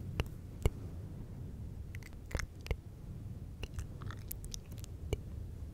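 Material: Synthetic fur.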